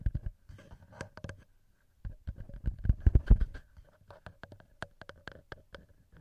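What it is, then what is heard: Metal microphone capsules tapped and scratched. Fingertips and nails tap and scratch the metal microphone capsules of a TASCAM handheld recorder. The result is a rapid, irregular series of close, dull thumps with heavy low boom, mixed with short scratchy clicks that die away almost instantly. A brief quiet gap around the two-second mark is followed by a louder, denser cluster of taps.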